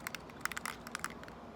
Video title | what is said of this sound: Spray Painting a Tumbler | need to keep shaking it until you hear that rattle